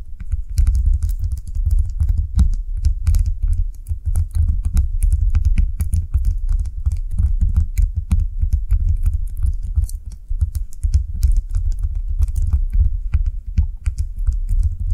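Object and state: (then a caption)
Soap bar tapped with nails. A small translucent blue solid soap bar on a table is tapped and scratched with long nails for a steady stream of rapid, dense taps. Each tap is a short, dull low thud with a faint crisp click on top, and the patter runs without pause throughout.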